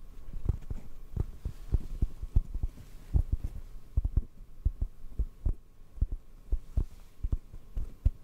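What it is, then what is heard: Foam microphone windscreen. A hollow black foam mic windscreen, held in both hands, is tapped and squeezed with fingertips. This makes a steady series of soft, dull, low thumps with almost no ring, over a faint low hum.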